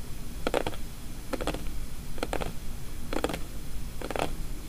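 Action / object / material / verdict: tap / small closed paperboard box / paperboard / none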